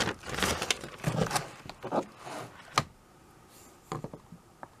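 White chalk held in fingers writes across a small handheld chalkboard with a wooden frame, making dense, bright scratching strokes for about three seconds. The strokes then stop, leaving near silence broken by a few short, light chalk taps and clicks at the end.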